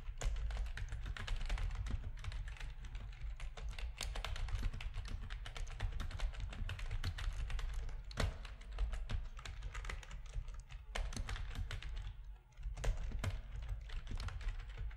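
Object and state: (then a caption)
Plastic computer keyboard being typed on. Fingertips of both hands type steadily on a full-size black plastic RGB-backlit keyboard with a hollow plastic housing, resting on a desk. Dense, rapid, short clacking keystrokes run continuously over a heavy low-end thump, with a brief lull just after 12 seconds before the typing resumes.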